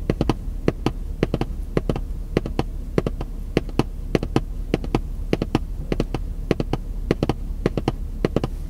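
White-gloved fingertips tap a long, hollow printed cardboard puzzle box held in one hand, giving quick, dry, irregular taps in short clusters. Each tap is a brief, hollow thud that dies almost at once. A steady low hum sits underneath.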